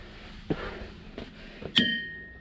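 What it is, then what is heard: Ringing boulder. A hammer strikes a ringing boulder: a few duller taps come first, then one loud, bright clang. The clang rings out as a clear, bell-like tone near 1.9 kHz that fades over a fraction of a second, and the strike is a loud one.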